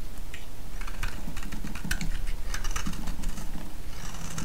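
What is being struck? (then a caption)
Bar of soap shaved with a metal blade. A metal blade shaves a solid orange soap bar held in the hand, and curls break off. Quick, dry scraping ticks and crisp crackles run through the clip over a low, steady rumble, with a brighter hiss toward the end.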